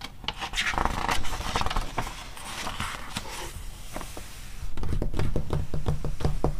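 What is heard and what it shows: Long red-painted nails on ringed fingers scratch and rub the glossy printed pages of an open softcover paper animal magazine lying on a fluffy rug, and a page is turned. Soft papery rasps and scrapes come in uneven strokes over a low rumble, then turn louder and quicker near the end as rapid, irregular scratches.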